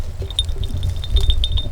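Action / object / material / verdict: shake / cast metal crotal bell with loose pellet / cast metal / working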